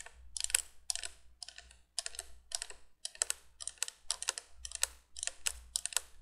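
Long painted nails tap and scratch along the hollow tubes of a vintage 1980s cream-colored plastic three-candle window candolier with orange plastic bulbs, held upright. A rapid, uneven run of bright, dry plastic clicks and scrapes comes in short bursts with brief pauses, each sound dying away almost instantly over a faint low rumble.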